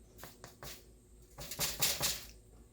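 An Irish soda bread loaf, checked after 15 minutes in a 390°F oven, is knocked on several times, giving soft, dry, hollow-sounding taps that fade quickly. The hollow sound shows the bread is baked through.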